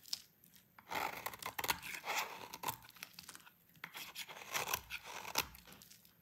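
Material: Soap.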